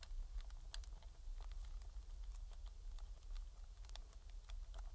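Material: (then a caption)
Plastic. A metal pick scrapes around the base of the thumbsticks and the face buttons on a hollow black plastic PS4 controller. Quiet, brief scratchy clicks and ticks crackle in the high range over a steady low hum.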